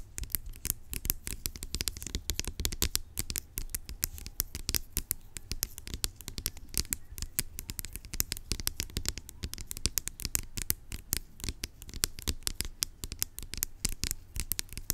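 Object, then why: Plastic pump bottle. Long acrylic nails scratch and tap rapidly across the label of a large, hollow, blue-labelled plastic pump bottle lying on its side. The result is a dense, continuous stream of short, dry, bright scratching clicks over a hollow low thump, steady in level for about fifteen seconds.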